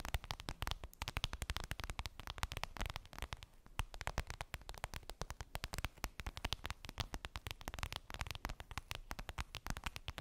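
Long pink nails tap and scratch quickly on a flat, clear PVC vinyl makeup bag with a daisy print and a zipper, lying on fluffy fabric. The result is a dense, steady stream of crisp, sharp clicks and scratches, each with a soft low thump and a bright edge that dies away almost instantly.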